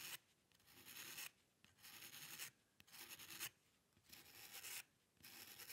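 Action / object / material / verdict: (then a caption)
scrape / paper sheet and metal pen nib / paper / none. A metal dip pen nib scratches across white drawing paper on a dark table in quick, hair-like strokes. It makes a series of dry, bright, raspy scratching bursts separated by short quiet pauses, with almost no low end.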